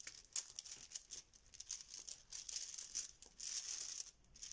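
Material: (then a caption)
Plastic. A yellow fabric Bananagrams zip pouch full of plastic letter tiles is squeezed and shaken in both hands. The tiles rattle in quiet, bright, dense bursts of clicking with almost no low end. The rattling swells and fades through the clip, with a longer sustained shake near the end.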